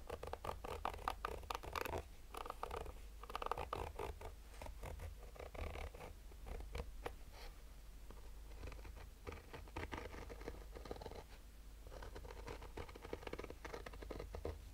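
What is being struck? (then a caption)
Fabric-covered hard-shell sunglasses case. Short nails slowly scratch the fabric lid of a black Polaroid nylon-mesh hard-shell sunglasses case near the logo. The result is a quiet, continuous stream of dry, raspy scratching strokes centered in the midrange, over a steady low rumble.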